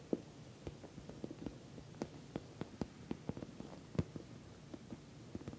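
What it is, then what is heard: Patent vinyl cosmetic bag. Long nails tap the top surface of a glossy orange patent vinyl cosmetic bag, soft-sided and filled. Quiet, dull, irregular taps sound over a low steady hum, each short with a brief bright click and a muted, low body.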